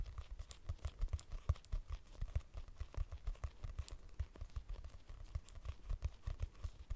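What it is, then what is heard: Hardcover notebook. Long nails tap and scratch on a purple hardcover notebook with a price sticker, its solid paper block giving a dull, muffled response. A quiet, steady stream of soft, low thuds comes in quick succession, each dying away almost instantly, with faint scratchy ticks between them.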